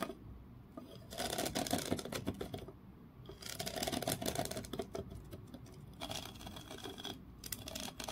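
Fingernails scratch across the ridges of a small, solid grooved wooden block held between both hands, with taps mixed in. The result is quiet bursts of rapid, dry, rasping scratches and crisp clicks with a bright edge, separated by short, softer pauses.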